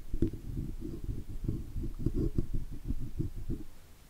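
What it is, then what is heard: Chrome microphone badge being scraped. The tip of a steel dental pick scratches and picks around the edges of a raised chrome oval Blue logo badge on the metal body of a Blue microphone. It makes a steady run of dull, low, rumbling scrapes with short scratchy bursts and almost no bright content, fading slightly at the end.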